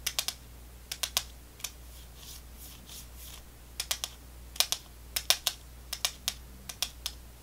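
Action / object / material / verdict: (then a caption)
tap / small plastic candy tube / plastic / none. Long fingernails tap quickly on a small clear plastic tube with a white cap, held in one hand and filled with round candy balls. The taps make 21 sharp, bright clicks in quick clusters, with soft faint rustling in the pauses and a steady low hum beneath.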